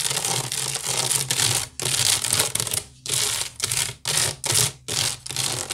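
Fingernails scratch fast across the woven side of a large, hollow wicker basket. The result is dry, bright, rasping bursts separated by short pauses, with a faint low hollow hum underneath.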